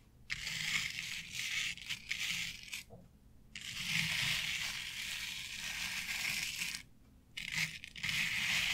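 Long acrylic nails scratch and rub through the fibers of a flat board covered in short synthetic turf. The result is a bright, crackling, crunchy rustle concentrated in the high frequencies, coming in sustained bursts separated by brief silent pauses.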